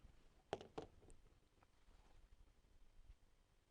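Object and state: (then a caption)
Dry flamboyant seed pod with loose seeds rattling inside. A dry, inedible seed pod from a flamboyant tree is shaken, and the loose seeds inside give a few quick, dry rattles. The sharp clicks die away almost instantly, leaving a quiet, hushed background.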